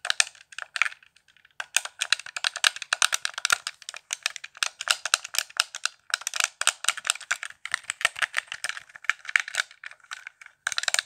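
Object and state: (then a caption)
Plastic game controller. Fingertips tap the buttons and shell of a hollow, handheld, transparent plastic Xbox One controller lit blue, producing rapid, bright clicks and light rattles. The sharp, dry taps sit almost entirely in the upper frequencies with no low end, coming in quick bursts separated by brief pauses.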